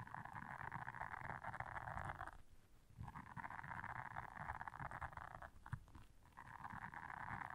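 Long nails scratch and press the bristles of a blue silicone bristle scrubber pad, making a steady, dense scratchy rasp concentrated in the midrange. The scratching comes in three stretches separated by two brief pauses, over a soft low rumble.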